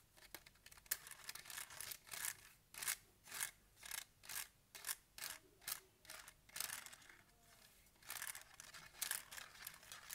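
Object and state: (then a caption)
Plastic scientific calculator. A small, hollow handheld Casio scientific calculator with a hard plastic case and keys is held in one hand while fingertips and nails tap its buttons and case. Quiet, bright, clicky tapping comes in quick bursts with scratchy rubbing between them. Each sound stops almost instantly, with no ring.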